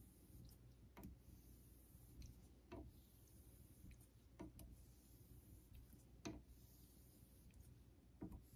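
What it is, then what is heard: Synthetic whetstone under razor strokes. A vintage Geneva Cutlery steel straight razor is honed on a solid pale synthetic Naniwa Super Stone whetstone. Quiet rubbing, scraping strokes come as brief bright swishes at irregular intervals over a steady low hum.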